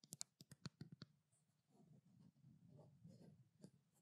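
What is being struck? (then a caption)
Small plastic bottle. A small white plastic skincare bottle is held in both hands while long nails tap and scratch its labeled side. About eight sharp, dry taps come first, followed by a softer, continuous scratching rustle with low body and bright clicky edges. The taps die away almost instantly.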